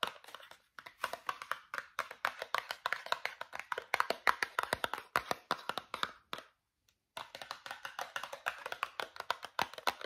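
A small travel-size Meridol cardboard toothpaste box is tapped rapidly with fingernails and fingertips. The taps are dry and crisp, with no ring, and sit mainly in the mid and high range. The tapping runs steadily, pauses briefly near the middle, then resumes.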